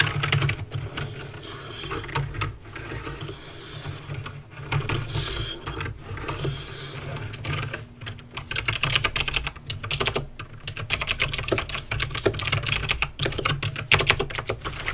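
Fingertips type on a backlit mechanical keyboard with plastic keycaps and clicky green switches. The result is a steady stream of sharp, bright clicks with short gaps, over a low hum that runs throughout.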